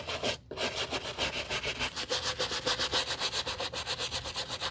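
A bristle brush scrubs the sole edge and side of a white leather sneaker with quick, steady back-and-forth strokes, about three to four per second. The sound is a bright, hissy scratching with a faint midrange tone, broken by a short pause near the start.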